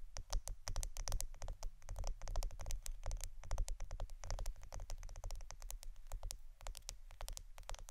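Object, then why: Roll of plastic adhesive tape. A roll of plastic Scotch adhesive tape is tapped and scratched in a rapid, continuous flurry of crisp, dry clicks that reach bright high frequencies. A steady low hum runs underneath the whole time.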